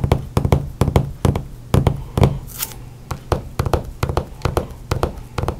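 Fingertips and nails drum on a flat hardcover book with a glossy cover lying on a table, producing quick, irregular bursts of soft taps and knocks. The hits are dull and low with very little ring, and a brief bright swish of a nail across the glossy cover comes midway.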